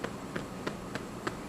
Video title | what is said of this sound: Cooking with Raina: Ep 1 | you're going to tap it and it's going to sound hollow. Then you know your bread is finished.